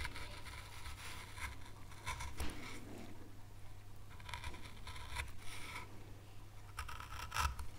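A fine veiner tool scrapes detail grooves into an oak leaf carved on a small, solid, pale light-wood carving board. Short, dry scraping strokes come in bursts over a steady low hum.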